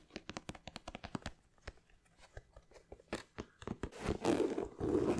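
Fingernails tap and scratch the leather side and rubber sole of an empty white leather Nike sneaker with a red swoosh, held in hand. A quick run of crisp, dry taps gives way to sparser, softer clicks, then to louder, bright, rasping scratches near the end.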